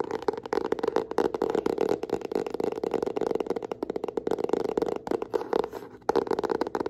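Long nails and fingertips rapidly tap and scratch the cover of a yellow hardcover notebook with solid bound pages, held in both hands. The dense, dry clicks and scrapes sit in a mid-range tone around 440 Hz, with a brief lull near the six-second mark before the tapping resumes.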